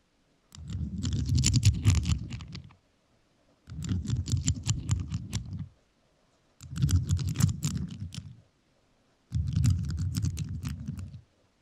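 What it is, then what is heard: Rhinestone-covered microphone tapped with metal nails. A rhinestone-covered microphone is tapped and scratched with metal nails in four separate bursts of quick, irregular tapping, with short silences between them. Each burst is a dense, deep, muffled rumble topped by bright, sharp clicks from the nails striking the rhinestones.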